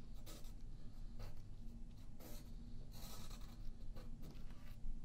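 A yellow graphite pencil draws on a thin sheet of white paper lying flat on a wooden table and held by the left hand. Short, dry scratching and tapping strokes come in brief bright bursts over a steady low hum.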